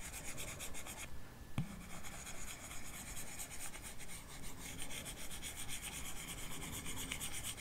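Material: Glass.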